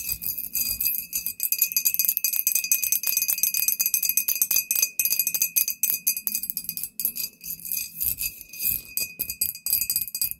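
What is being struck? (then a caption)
Glass bottle tapped with fingernails. Long painted nails of both hands rapidly tap a tall, clear, embossed glass "Poison" bottle with a paper label, hollow and apparently empty. The result is a dense, continuous patter of bright, crisp clicks that die away almost instantly, over a faint steady ringing tone, with almost no low end.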